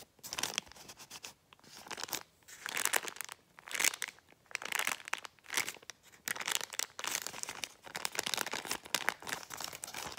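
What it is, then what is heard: Brown paper bag. Long painted fingernails scratch and rub a brown kraft paper bag folded flat. The result is a run of dry, crinkly, bright scratching bursts, separated by brief quiet gaps and with almost no low end.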